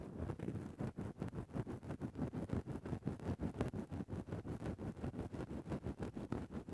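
A grey synthetic faux-fur microphone windscreen is rapidly scratched at one spot with the tip of a thin bamboo ear pick. The result is a dense run of about 28 soft, muffled scraping strokes, each short and quick to fade. The sound is low and rumbly, centred near 90 Hz, with almost nothing bright above it.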